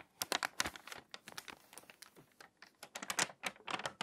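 A hand with long nails turns a page of an open, water-damaged glossy paper magazine and presses along its spine. The stiff, crinkly pages give off a quick run of crisp, bright crackles and rustles that stop dead with almost no ring.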